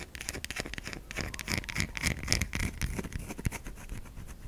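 Long pink acrylic nails scratch and rub along the lightly grooved surface of a palm-sized solid white bar of soap held in one hand. The result is a dense run of short, dry scratching and tapping strokes with bright, crackly edges over a soft low thump.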